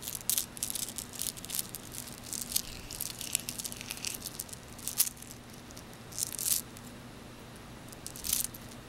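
A small glass bead bracelet of frosted white and blue faceted beads on metal links is handled and gathered into the palm with the fingertips. The beads clack and rattle in bright, crisp bursts of clicks, with a few louder clusters over a faint, steady low hum.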